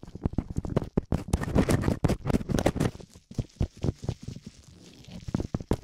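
Gloved fingertips rapidly scratch and rub both small, hollow, soft silicone ear covers of a binaural microphone. The result is a dense run of quick, muffled scraping bursts and soft thumps, mostly low and dull with little brightness. The bursts come in fast clusters with short gaps and quieten toward the end.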